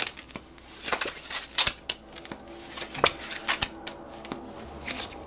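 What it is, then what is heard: Paper playing card deck. A purple-backed paper playing card deck is split into packets in both hands while fingers spring, flick and snap the cards. Bright, crisp clicks and sharp snaps ride over soft, rapid riffling, with almost no low end and each snap dying away almost instantly.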